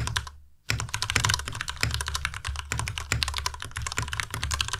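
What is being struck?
Mechanical keyboard with plastic keycaps.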